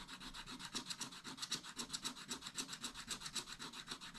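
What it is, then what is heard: Scratch-art paper being scratched. A stylus scratches the yellow ornament area of a spiral scratch-art pad, a flat, thin coated sheet over colored paper, while the other hand steadies the page. Repeated short, dry scratch strokes come in a quick, fairly steady rhythm. Each stroke is a bright, high, raspy hiss with little low end, and it stops almost as soon as the stroke ends.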